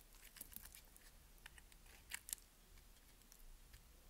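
A utility knife blade shaves and scrapes the surface of a solid white rectangular bar of soap held in the palm. Quiet, crisp, bright scratching and crunching comes in short bursts, with two sharper, louder scrapes near the middle over a soft low background hum.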